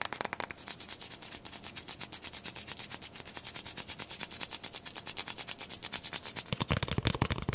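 A single small, whole brown chicken egg with a hollow shell is held up in both hands while long nails and fingertips tap and scratch rapidly across it. The result is a fast, steady stream of light, bright clicking taps. The taps grow louder and fuller near the end.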